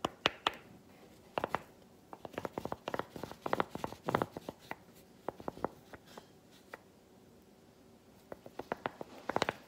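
A smaller piece of chocolate held in the fingers taps and scratches against a solid, textured milk chocolate bar. Clusters of quick, dry clicks with a brief bright edge come in uneven bursts. Quiet pauses sit between the bursts, and each tap dies away almost instantly.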